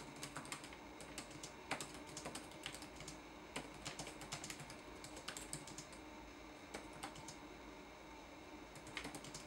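Fingertips type on a red-backlit laptop keyboard with plastic keys. The quiet, bright, clicky taps come in quick irregular bursts over a steady low hiss.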